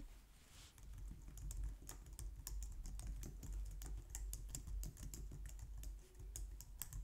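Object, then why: Plastic computer keyboard. Long painted nails and fingertips type steadily on a low-profile white/light-grey plastic wireless keyboard resting on a glitter mat on a wooden desk. Each keystroke is a quick, bright plastic tap that dies away almost at once, over a constant low rumble.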